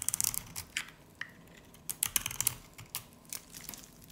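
A dry, varnished, solid yellow-green soap bar, held in the hand, is scraped with a utility knife blade, and powdery shavings come off. Quick, crisp, bright scratches and clicks come in uneven bursts, each stopping almost at once with very little low end.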